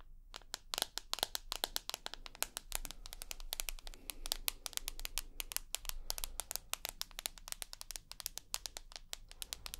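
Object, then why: Smartphone with glass screen and aluminium body. Long nails tap rapidly across the white glass front of a rose gold iPhone with an aluminium body, producing a dense stream of sharp, bright clicks that stop instantly with no ring. A faint, steady low hum sits underneath the quick, uneven tapping throughout.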